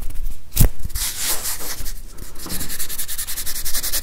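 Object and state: Plastic whiteboard eraser with felt pad, scratched.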